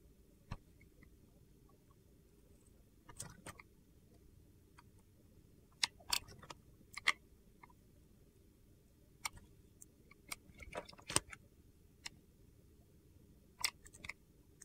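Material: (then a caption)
Glycerin soap. A metal box-cutter blade scrapes and slices thin curls off a hand-held clear glycerin soap bar with colored soap cubes. About fifteen sharp, bright, crunchy clicks and scrapes die away almost instantly, some bunched in quick clusters. Between them a faint low hum sits underneath.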